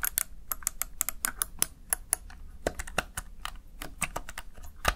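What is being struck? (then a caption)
Plastic gaming keypad keys. Fingertips press the backlit keys of a Razer Tartarus Chroma plastic gaming keypad in quick typing. Rapid, sharp, bright plastic clicks follow one another over a faint low background hum, each tap dying away almost instantly.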